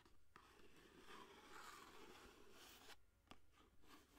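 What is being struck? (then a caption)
Cardboard box with a foil roll inside. Long fingernails scratch steadily across a long orange cardboard aluminum foil box with the roll still inside, held close to the microphone. The soft, quiet scraping rises and falls, broken by three sharp taps on the box.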